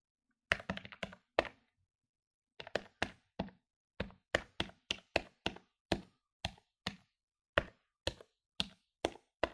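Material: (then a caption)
Plastic. Fingertips rapidly press the plastic keys of a medium-sized plastic electronic desktop calculator lying on a wooden table. Crisp, dry clicky taps come in quick bursts with a short pause near the start. Each tap is bright and dies away almost instantly.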